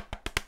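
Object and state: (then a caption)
Solid-sounding plastic speaker housing. Knocks on the plastic casing of a Bluetooth speaker give three short, dry taps with a low thump and a bright click, dying away almost at once. The plastic sounds solid rather than hollow and not of poor quality, and the speaker feels weighty and well made.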